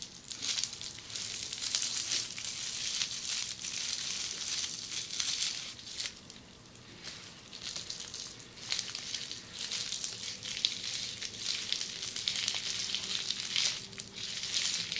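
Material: Plastic.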